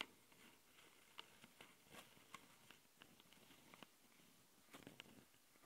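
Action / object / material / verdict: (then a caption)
scrape / metal mesh microphone grilles on a small plastic recorder / metal mesh / none. Long fingernails on both hands scratch the two metal mesh grilles over the microphone capsules of a small plastic Tascam handheld recorder. The result is quiet, bright, crackly scratching dotted with sharp, irregular ticks that die away almost instantly, over a low, steady hiss.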